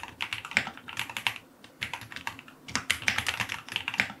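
A white full-aluminum QK75 75% mechanical keyboard with white and dark green plastic keycaps, a brass knob, an FR4 plate and lubed linear switches sits in its solid case on a desk and is typed on with fingertips. Continuous key presses give quick, bright, short clacks in bursts, with a brief pause near the middle.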